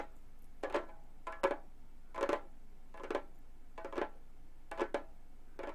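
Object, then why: Frame drum with synthetic skin head. Gold metal claw nails lightly tap the synthetic skin head of a hollow Remo frame drum. The taps come in short, uneven clusters and give a soft, mid-pitched papery knock with a faint bright click and almost no ring, over a quiet background.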